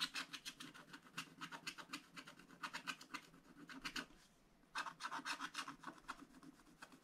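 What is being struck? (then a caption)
Wooden stylus on wax-coated scratch-art paper. A wooden stylus rubs and scratches across the black coated paper of a scratch-art book page, filling in an area in the upper right. Quick, bright, raspy strokes repeat in a steady back-and-forth rhythm, pause briefly near the middle, then resume just as busily.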